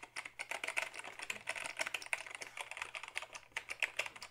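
A black Dell keyboard of hollow plastic, tilted forward, is typed on with the fingertips. Rapid, uneven keystrokes produce bright, hollow plastic clicks and clacks centered around 2.5 kHz. Each tap dies away almost instantly over a faint steady low hum.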